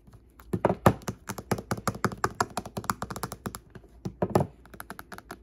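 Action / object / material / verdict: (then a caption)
tap / smartphone with glass screen in plastic case / glass, plastic / none. Long pink-painted fingernails tap an old iPhone's solid glass front screen and the edge of its clear teal plastic case as it lies face up on a wooden table. About thirty quick, dull clicking taps come in an uneven rhythm, each dying away almost at once, with a few heavier knocks among them.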